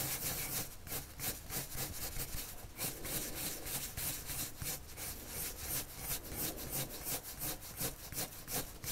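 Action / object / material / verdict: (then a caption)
scrape / coloured pencil on a paper sheet over a wooden table / paper / none. The tip of a red wood-cased colored pencil, held in the hand, rubs across a thin white paper sheet lying flat on a solid wooden table. Quick, continuous back-and-forth strokes make a dry, bright scratching hiss with a soft low rumble underneath. The sound pulses steadily at roughly three strokes per second.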